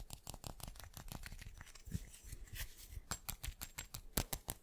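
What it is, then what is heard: Solid glass chunk. A solid chunk of teal glass is turned in the hands and tapped fast with the fingertips and nails. Rapid, dry clicks and taps come in quick bursts, each with a bright tick over a soft low knock and almost no ring, alongside faint handling rustle.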